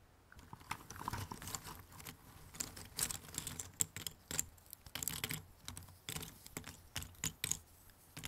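Fingertips rummage and scratch through a pile of thin cardboard jigsaw puzzle pieces in an open cardboard box. Quiet, dry, bright clicks and rustles come in quick irregular bursts as the pieces shift and tap against each other, with very short ring and little low end.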